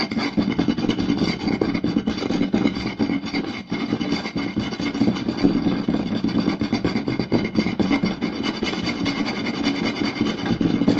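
Both hands tap and scratch a round solid wooden plate rapidly with flat palms and fingertips. A dense, continuous stream of quick woody knocks and rasping scrapes holds a warm hollow tone in the low mids with a bright scratchy hiss above, at a steady level throughout.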